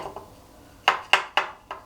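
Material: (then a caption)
Steel. A screwdriver taps four times inside a hole drilled into the wall above a window, striking the steel lintel behind it. Each tap is a short, bright metallic "dink" that dies away quickly, confirming the lintel is steel rather than concrete.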